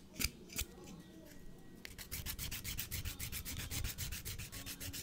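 A blue emery nail file is rubbed against the edge of a natural fingernail. After two brief taps and a quiet pause, steady, rapid back-and-forth strokes begin, making a bright, scratchy rasp with each pass. The filing continues evenly to the end.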